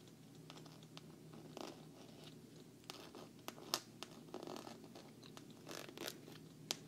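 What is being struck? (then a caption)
Glossy quilted vinyl travel case. Long nails tap and scratch the front and logo corner of a hollow, black glossy quilted patent vinyl travel case. The result is irregular, sharp, bright clicks over a soft, scratchy rustle and a faint steady low hum.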